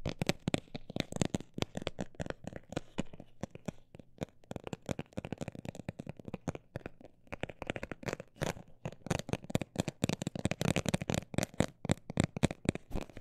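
A textured cosmetic bag is tapped with many quick, dry taps that come in dense bursts with brief gaps. The taps sound crinkly and papery with a low-mid body, and the pace slows and quiets around the middle before picking back up.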